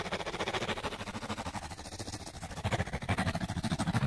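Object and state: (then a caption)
Cardboard light bulb box. Fingernails scratch rapidly back and forth along the edge of a small, hollow, printed cardboard light bulb box. The result is a dense, fast rasping with a papery hiss and a hollow low thrum from the box. The strokes grow louder and punchier in the last part of the clip.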